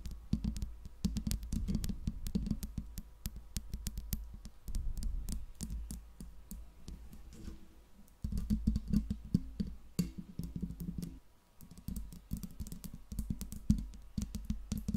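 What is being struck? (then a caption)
Metal microphone body and mesh grille. Long pink nails tap and scratch on the metal mesh grille and smooth metal body of a silver Blue Yeti microphone. Dense, rapid clicking taps run throughout with a low, boomy body, broken by brief quieter pauses near 8 and 11 seconds.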